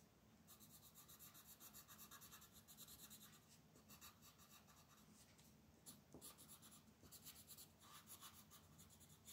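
A blue wooden colored pencil colors in small areas of a flat white paper mandala sheet lying on a table, using short strokes. Quiet, bright, scratchy rasps come in quick repeated bursts over a steady low hum, with a few louder strokes toward the end.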